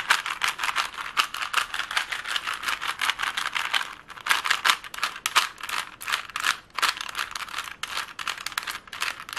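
A plastic Rubik's cube is twisted and tapped with long nails, making dense, rapid clicking rattles that are bright and dry. They run in bursts with a brief pause near the fourth second.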